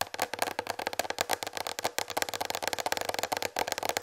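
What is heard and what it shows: Long red fingernails tap rapidly on a large white plastic tray that is slightly tilted. The result is a fast, continuous run of short, dry clicks with a bright, hollow plastic ring and almost no low end.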